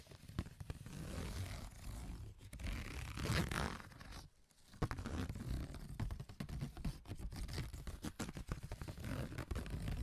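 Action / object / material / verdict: scrape / corrugated cardboard sheet tapped and scraped with hard cylindrical tips / cardboard / none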